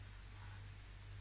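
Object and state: Nothing is struck.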